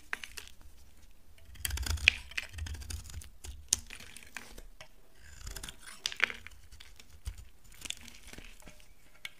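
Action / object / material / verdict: scrape / laundry soap bar scraped with a blade / soap / none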